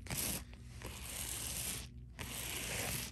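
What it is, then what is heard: Plastic bubble mailer. Fingertips and nails scratch and rub the bubble-textured surface of a flat, thin white Priority Mail padded envelope with a poly plastic outside and bubble padding. Three bursts of bright, crinkly, hissing scratching are heard, separated by brief quieter dips, over a low rumble.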